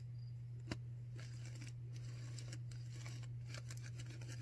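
Long nails on both hands scratch and rub a white disposable non-woven paper surgical face mask worn on the face, heard close up. Soft, bright scratchy rustles come in bursts over a steady low hum, with one sharp tap standing out early on.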